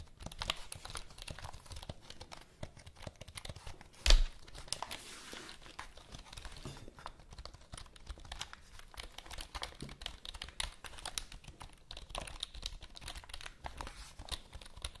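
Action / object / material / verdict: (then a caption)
tap / plastic computer keyboard / plastic / none. Long manicured nails tap and scratch the keys of a full-size black plastic computer keyboard with a cable, held upright close to the mics. Dense, quiet clicks and scrapes run throughout, with some crinkle-like noise and one sharper, louder tap around four seconds in.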